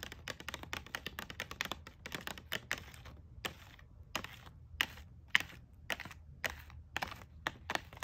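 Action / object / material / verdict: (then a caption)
tap / plastic blister pack holding a hairbrush and comb / plastic / none. Long acrylic nails tap and scratch a pink plastic hairbrush and comb set sealed in a clear plastic blister pack on a card backing. Around thirty quick, bright, crackly clicks land in an irregular rhythm, with soft scratchy rustling between them. The taps are very short and dry, with almost no ring.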